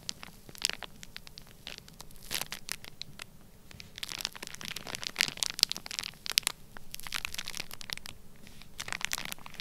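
Fingertips and nails scratch and squeeze the crinkly surface of a flat, sealed, clear plastic bag full of orange kinetic sand. It makes dense, bright crinkling and crackling with quick scratchy ticks over a soft low rumble. Louder bursts of rustling swell and fade throughout.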